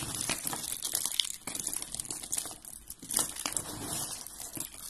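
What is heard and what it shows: Fingers crush and rub white and blue dry soap flakes, producing a steady, dense crinkling crunch. The sound is dominated by bright, high-pitched crackles with rapid, short-lived transients and little low end.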